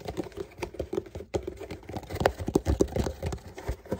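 A medium Walmart cardboard shipping box, hollow and closed, is held in both hands and tapped and scratched with fingertips and short painted nails. A quick, uneven run of soft, dull, hollow taps mixes with brief scratchy rasps across the cardboard. Each tap dies away at once with no ring, keeping the sound quiet and muffled throughout.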